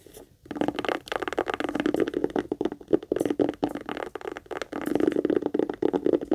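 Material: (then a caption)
Leather. A small, hollow pink leather heart-shaped purse is held in both hands and turned over while long nails scratch and tap quickly across its sides and front. After a brief quiet start, dense bursts of dry tapping and scratching run continuously, with a hollow midrange tone around 340 Hz.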